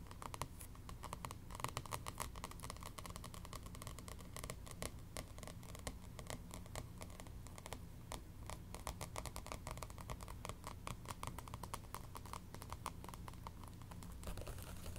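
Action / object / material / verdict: scrape / paperback book with glossy paper cover / paper / none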